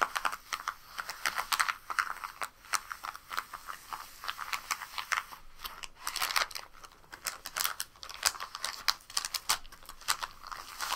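Long pink nails tap and scratch across a flat, empty brown kraft paper bag lying on a rug. The result is a steady run of quick, dry, papery clicks and crinkly scratching strokes, bright and crisp with almost no low end. Each tap dies away almost instantly.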